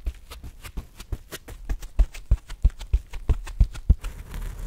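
A palm-sized, grey, porous body-scrubbing sponge with an orange tag is held in both hands, squeezed and scratched with gloved fingertips across its rough surface. It gives a rapid, uneven run of short, dry scratching crackles, each with a soft low thump, and the clip ends in a faint hiss.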